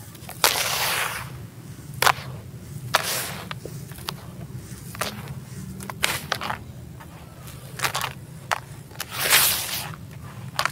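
Bare hands rake and scrape through dry, coarse sand-cement crumble in a teal plastic tub, then drop the grit back in. The result is a series of sharp, bright, gritty crunches and quick clicks over a steady low hum, with longer hissing swells as the grit pours back down.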